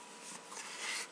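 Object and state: Nothing is struck.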